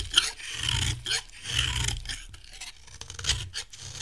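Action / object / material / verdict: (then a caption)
scrape / bar of soap scraped with a metal blade / soap / none. A metal blade scrapes and shaves a solid, dry cream bar soap. Repeated dry, rasping strokes give off bright, gritty shaving noise with soft low thumps under each pass.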